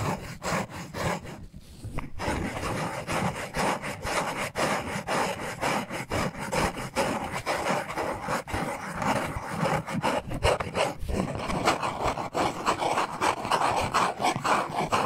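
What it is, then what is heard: Cardboard box. Fingertips and nails rub and scratch a small, hollow black cardboard necklace package with a printed label. The result is a continuous dry, papery scraping and brushing texture with irregular rhythmic strokes. A brief quieter pause comes near the two-second mark.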